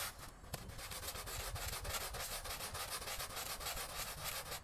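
A long-handled green plastic-bristle broom scrubs back and forth across a small, flat, thin woven prayer-style rug lying wet and soapy on a tiled floor. A steady run of quick, rough, bright scrubbing strokes, about three or four a second, keeps a hissy swish going with a soft low thump under each pass.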